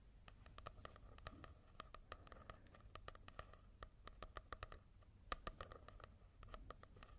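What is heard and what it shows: Fingertips tap and scratch on a manga book with a matte paper cover, making quick, dry, quiet clicks in an uneven rapid pattern. The taps have a faint tone near 1.2 kHz over a soft, low background hum.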